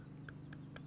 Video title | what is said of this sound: KBAK/KBFX - Live Hits - Minter Field Air Museum - 05-08-14 | you normally knock on it you hear like a tiny sound or at least some kind of metal sound no it's like it's like solid concrete